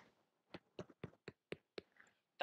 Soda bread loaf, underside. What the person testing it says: give it a tap i'm gonna hold you next to my microphone so hopefully you'll be able to hear it but it should sound hollow that sounds hollow to me